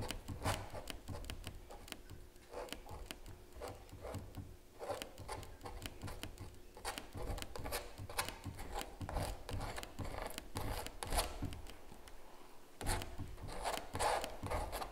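A palette knife scrapes and traces across the surface of a large, hollow-backed stretched canvas print. It produces a dense, irregular run of rough rasping strokes and light taps. The strokes carry a dull, hollow low thump from the taut canvas, with short bright scratchy edges that die away almost at once.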